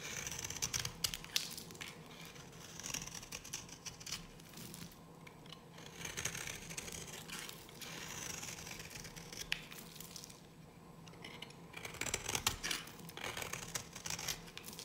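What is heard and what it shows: A solid, dry yellow bar of soap is held in the hand and carved with a metal blade. The result is a dense run of crisp, bright scraping and crumbly cutting strokes, with louder bursts of shaving near the start and again toward the end over a quiet, steady background.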